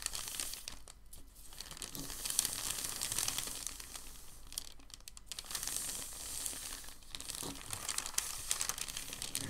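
Palms smooth and rub a large, thin, white, crumpled sheet of packing paper flat, then both hands lift it, crinkling it. The result is a continuous, quiet, dense crinkle and rustle that is mostly bright and hissy, with short, fast-fading crackles and some gentle swells and dips in loudness.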